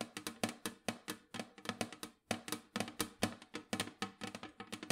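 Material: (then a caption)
Sheet metal. Long nails tap rapidly on the lid of a large, round, printed metal cookie tin that is hollow with its lid on. About thirty quick, dry clicks come in uneven bursts, each with a low hollow tone near 230 Hz and a bright edge that dies away almost at once.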